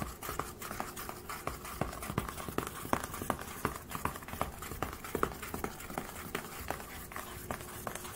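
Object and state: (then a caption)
Aluminium laptop lid. Fingertips and nails rub and scratch across the silver aluminium lid of a closed HP laptop. The result is a steady, soft scraping hiss broken by many short, irregular scratchy clicks, with a faint low hum underneath.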